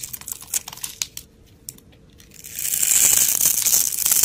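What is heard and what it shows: A steel utility blade slices scored layers and cubes off a solid, hand-sized brown rectangular bar of soap held in the hand. Quick, crisp crackling cuts come first, then a near-quiet pause with faint ticks. A steady, bright, hissing scrape builds and holds to the end.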